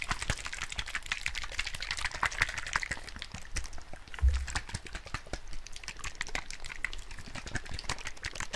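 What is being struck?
Small plastic bottle of liquid.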